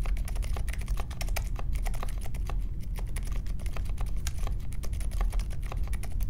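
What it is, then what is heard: Mechanical keyboard, typing. Fingertips type steadily on the plastic keycaps of a compact Polaris mechanical keyboard with silent Alpaca switches and a metal case, resting on a marble desk. The keystrokes come as a continuous stream of soft, muted clicks with brief bright ticks, over a steady low rumble.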